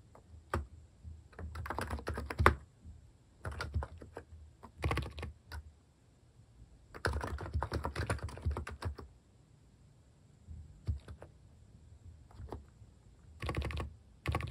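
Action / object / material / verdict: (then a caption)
tap / plastic keycap keyboard / plastic / none. Typing on a compact topre-style (electrocapacitive) keyboard fitted with plastic cat-shaped keycaps, with fingertips pressing the keys at a slower pace. Soft, muted key thocks come in several bursts separated by short pauses, and the sound sits mostly in the low range with little bright clatter.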